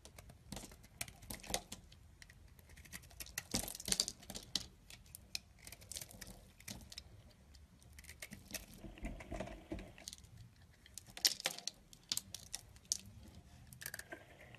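A solid beige bar of soap held in the palm is carved with a yellow-handled utility knife, and flakes drop away. Quiet, bright scraping and crisp crackling come in short bursts with sharp ticks, like light tapping. The louder bursts come near the start, middle and end.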